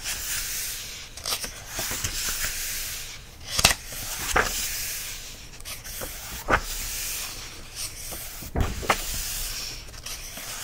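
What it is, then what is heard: Paper coloring book. Fingertips tap and rub across the printed line-art pages of an open softcover paper coloring book lying flat on a fleece surface. A steady, bright papery rubbing hiss runs throughout, broken by seven short, dry taps with almost no ring.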